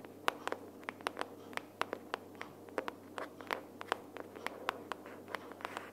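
Long nails tap quickly and irregularly on the front cover of a closed pink cardboard sticky-notes box held upright. Each tap is a short, dry, bright click with almost no ring, set over a faint steady hiss.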